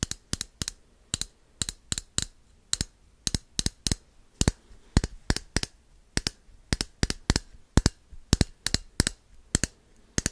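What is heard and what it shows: Fingertips and nails tap and click on the body and cap of a small, hand-held red plastic bottle, which seems hollow. About 34 short, sharp clicks come in an irregular rhythm. Each is bright, dies away almost instantly, and has a faint low thump beneath it against a quiet background.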